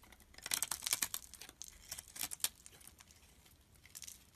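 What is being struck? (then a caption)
Bar of soap scraped with a metal blade. A solid red bar of soap held in the hand has small crumbly pieces scraped off it by a metal blade. The sound is a run of quick, dry, bright scratching and crumbling strokes with almost no low end, loudest in the first half.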